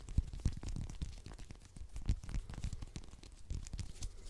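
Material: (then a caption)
Citrus peel. A whole small orange with a textured peel, held in the hands, is scratched and tapped quickly with fingernails close to the microphone. The result is a fast, irregular stream of dull, bass-heavy thumps mixed with dry, crackling scratches and faint bright rasps. Each tap dies away almost instantly.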